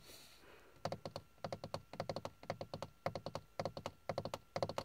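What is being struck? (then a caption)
Textured plastic dashboard panel. Fingertips and nails tap and scratch a hard, hollow, grained plastic dashboard panel with carbon-look trim on a car's passenger side. After a faint hiss, quick dry knocks with a mid-pitched hollow tone follow in clustered bursts, each dying away almost instantly.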